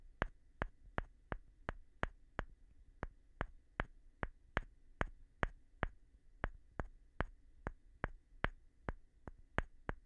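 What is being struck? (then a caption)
Light wooden board tapped with a plastic brush handle. The white handle end of a makeup brush taps and rubs the surface of a light wooden board held in one hand. About 25 short, dry, crisp taps come at a steady pace, each dying away almost instantly, over a faint low hum.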